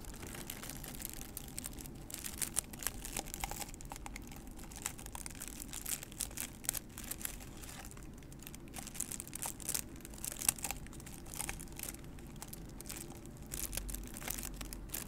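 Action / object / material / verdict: scrape / paper cup / paper / none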